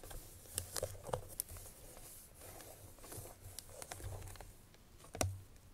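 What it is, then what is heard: Paperboard perfume box. Long fingernails tap the top face of a small, closed, cream-colored Chloé paperboard perfume box that is hollow, holds a perfume bottle inside, and may still be in its cellophane wrap. About ten crisp, bright clicks sound, each with a low, hollow thump that dies away quickly. Soft scratchy rustling fills the gaps between the taps.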